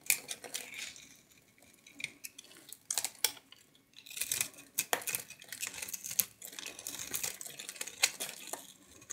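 A palm-sized, solid orange-and-white striped soap bar with a starch coating, held in one hand with long white nails, is carved and scraped with a metal knife blade so shavings flake off. The sound is a series of bright, crisp scrapes and dry crackling snaps with quick, clicky bursts and no low end.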